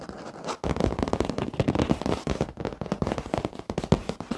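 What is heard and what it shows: Short fingernails of both hands scratch and tap rapidly on the surface of a black padded leather office chair. The result is a dense run of dull, low crackling scrapes and soft taps, with very little high content.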